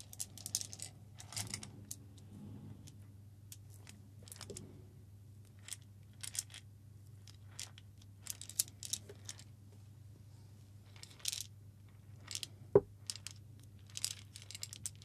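A hollow cylindrical metal tin can is tapped and scratched with the fingers close to the microphone. Many short, bright clicks and light scratchy rustles come in scattered clusters over a steady low hum, with one louder, sharper tap near the end. The taps die away almost instantly, leaving a dry, quick metallic patter.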